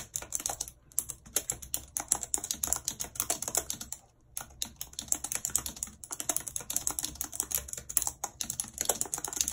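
A full-size white and silver plastic computer keyboard with a numeric keypad, lying on a map, is typed on continuously and fast with very long red acrylic nails and fingertips. Its hollow keys give dense, bright clicky taps with short pauses near 1 and 4 seconds.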